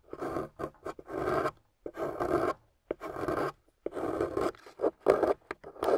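A metal loop carving tool scrapes a solid, water-soaked, gold-painted beige clay bar, peeling curls of clay off it. The strokes come in an irregular series of short and longer passes with brief silences between them. Each pass gives a soft, wet, gritty scraping sound centered in the midrange.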